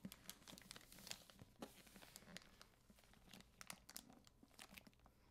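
A solid, medium-sized hardcover library book, *Conflict and Crisis*, in a clear plastic jacket is held while fingertips and nails rub across the cover. The plastic gives a run of quiet, bright, crisp crinkles and scratchy ticks, with a faint low rumble underneath.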